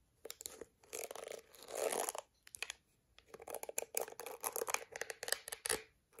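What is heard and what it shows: Long acrylic nails rapidly scratch across the dense black plastic bristles of a plastic detangling hairbrush held in hand. The result is dry, bright, crackling rasps, with a few longer sustained scrapes early on followed by quick bursts of clicky scratching separated by short pauses.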